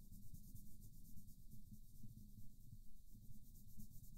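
A green wooden colored pencil scratches and rubs back and forth in small, quick strokes across a flat paper coloring book page while the other hand steadies the book. The result is a quiet, steady, fairly regular scratchy rubbing, mostly low and grainy, with a faint high hiss running underneath.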